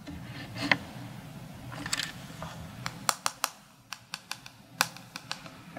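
Fingertips and short nails tap and rub around the rim and rings of a hand-sized Sony kit zoom lens, a hollow cylinder with a black plastic barrel and a glass front element. Soft, scratchy rubbing gives way to a series of sharp, bright clicky taps that die away almost instantly.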